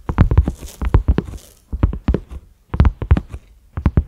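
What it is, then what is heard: Silicone pot lid. A large, flat cream silicone pot lid with concentric ridges and a black center knob is tapped with the fingertips and short nails of both hands. The taps come in quick bursts separated by short pauses. Each is a soft, deep, muffled thud that stops at once with no ring.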